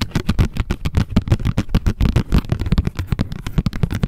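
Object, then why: Small printed cardboard tag tapped with long nails. A small pink printed cardboard tag lying flat is tapped and scratched rapidly with long nails. The result is a dense run of short, dry, close taps with quick scratchy strokes between them, dull and low-heavy with no ring.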